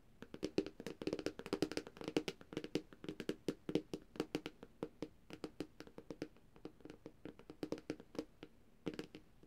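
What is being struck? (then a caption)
Glass tablet screen. Long dark-painted nails of both hands tap rapidly on the glossy glass screen of a large, thin, flat black Samsung tablet lying on a surface. The result is a dense, irregular patter of short, dry clicks with a hollow mid-low body and bright ticking tops that stop dead with no ring.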